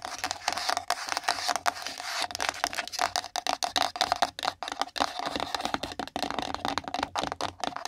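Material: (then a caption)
Cardboard. Long nail tips tap rapidly on a small, empty pink printed cardboard gift box resting on a microphone. The hollow box gives off a dense run of quick, dry clicks with a steady mid tone and a bright, papery edge.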